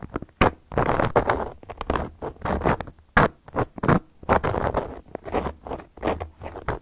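Long gold metal claw nail covers on the fingertips scratch and tap across a solid, round, flat cork coaster. Irregular bursts of dry, rasping scrapes alternate with sharp little taps and short silences, with the sound staying mostly soft and low-mid in tone.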